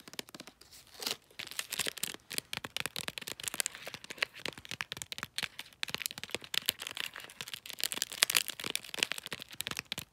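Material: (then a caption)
Paper. Long nails tap and scratch the side and folded end of a cylindrical gift wrapped in glossy bulldog-print paper. A dense run of quick, crisp taps mixes with crinkly, papery scratching, all bright and high with almost no low end. Each tick dies away almost instantly.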